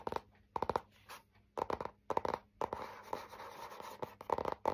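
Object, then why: Laminated hardboard clipboard with metal clip. Fingernails scratch the front and back surfaces of a printed, laminated hardboard clipboard with a metal clip, making quick bursts of dry, raspy strokes. The bursts are separated by brief quiet gaps, with a longer, steadier stretch of scratching in the middle.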